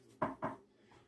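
Two faint knocks on a surface identified as real wood, made for luck in place of a nearby item not trusted to be real wood. Each knock is a short, dull, low-mid thud that dies away quickly against a quiet background.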